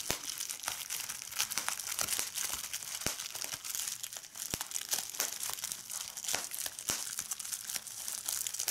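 A large sheet of clear plastic bubble wrap is lifted up and crumpled by fingertips with red nails, which also pop its bubbles. A steady, bright crinkling fills the clip, broken by sharp, short pops scattered throughout, with almost no low end.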